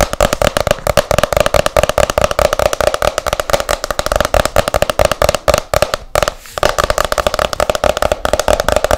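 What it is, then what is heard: Hardcover book. Long nails tap fast and hard on the back cover of a hardcover book, which has a photo on it, in a steady stream of short, sharp clicks. Each click has a woody resonance around 600 Hz with a bright edge, and there is a brief pause near six seconds before the rapid tapping resumes.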